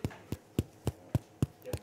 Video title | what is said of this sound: More Than a Cooking Show - The Book Launch, "The Commonsense Cook" | when you tap the bottom i don't know if you can hear that drum there's a drum it's like a bass drum